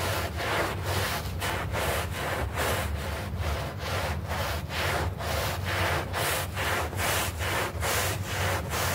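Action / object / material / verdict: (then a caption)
scrape / synthetic turf doormat / plastic turf / none. A hand brush is dragged in long scrubbing strokes across a small, foamy green synthetic-turf doormat. Steady, rhythmic strokes of bright, raspy bristle noise sit over a low rumble, with a brief dip between each stroke. The scrubbing continues evenly throughout.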